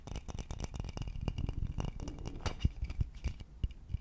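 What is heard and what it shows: Fingertips and nails rub and scratch the body of a hollow wooden vase. Dense, rapid scratching and rubbing is heard over low, hollow knocks and thumps that die away almost instantly. The sound stays quiet and dry, with its energy sitting mostly in the low end.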